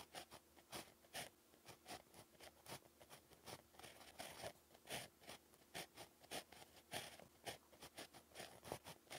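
A pink plastic ballpoint pen tip, held in the fingers, scratches continuously across a flat, solid sheet of lined beige paper on a pad while handwriting. The result is a quiet, steady run of short, bright, papery scratching strokes with little low end, each dying away almost at once.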